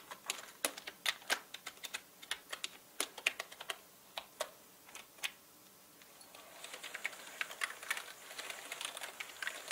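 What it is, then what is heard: Plastic mechanical keyboard typing. Fingertips of both hands type fast on a full-size black mechanical keyboard with plastic keycaps and a dark frame, lying on a red cloth beside unused paint brushes. Sharp, bright plastic key clicks come one by one at first, then run together into a denser, quicker clatter in the last few seconds.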